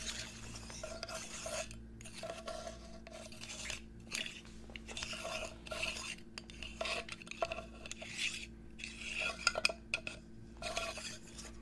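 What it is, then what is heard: Glass bottle scratched and tapped. Fingernails scratch and tap on a medium-sized, hollow, clear glass perfume-style bottle with a gold cap, held by hand close to the microphone. Bursts of bright, rasping scrapes mix with sharp little clicks on the glass. A steady low hum runs underneath throughout.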